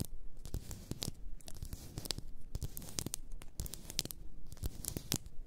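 Long nails tap and scratch the sides of a large, apparently glass bottle full of pink bath salt. Quick, dry clicks and crisp, rasping scrapes follow one another in a steady, crunchy stream. The taps are sharp and short, with a soft low body beneath bright edges.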